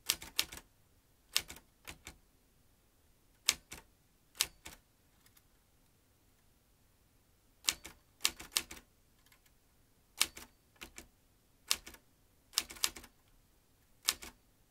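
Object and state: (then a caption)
Metal manual typewriter. Fingertips type on the keys of a vintage metal manual typewriter with typebars and a ribbon spool. Sharp, bright metallic clacks come in quick clusters of two or three strokes, separated by short pauses. Each strike dies away almost instantly, with very little low end.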